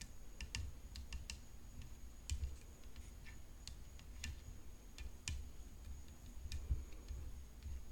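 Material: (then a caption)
Graphite composite. Long fingernails tap the hollow composite frame of a rhinestone-decorated graphite composite tennis racket. The result is a quiet, irregular series of short, sharp clicks with bright high-pitched ticks. A faint steady high tone and a low rumble run underneath.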